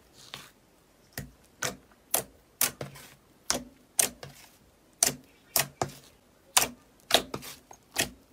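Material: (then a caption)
Slime. A large round sheet of thick, glossy, opaque red slime on a white surface is poked with a fingertip, lifted and folded, then pressed with the palm. This gives 15 sharp, bright, crackling pops and clicks at an uneven pace, each dying away almost at once, with quiet between them.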